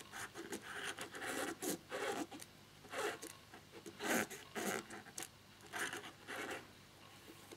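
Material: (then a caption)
Plastic. A black plastic laptop keyboard with one keycap removed is rubbed and scratched, as fingers and a cotton swab work over the exposed key mechanism and the neighboring keys. Short, dry bursts of scraping and rubbing come and go. They have a bright, hissy texture with little low end, and quiet gaps fall between them.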